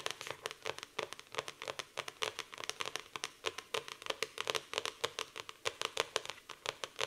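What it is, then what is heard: Hardcover notebook. Long painted nails tap and scratch quickly across the glossy printed cardboard cover of a medium-sized black hardcover notebook with a floral print and "Live for today" on the cover, lying flat on a wooden table over a solid stack of paper. Many dense, sharp, dry clicks and scrapes follow in quick succession, bright and crisp with almost no low end and no ring.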